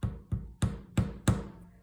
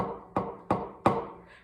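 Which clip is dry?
The second.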